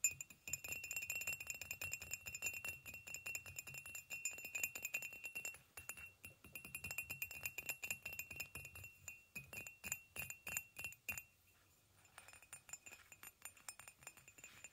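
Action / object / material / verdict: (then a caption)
tap / ceramic coffee mug / ceramic / none. A hollow white ceramic coffee mug standing on a blanket is tapped along its side with fingernails in rapid, continuous runs. The taps give bright, sharp clicks with a thin glassy ring, briefly falling quiet near the end before lighter taps resume.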